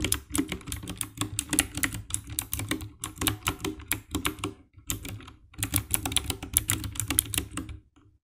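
Fingertips type rapidly on the keycaps of a compact 60% black plastic mechanical keyboard with RGB backlight, producing a steady stream of dry, clacky key presses with a bright click and a low thock. The taps are short with no ring, pause briefly about two-thirds of the way through, then resume before trailing off into quiet at the end.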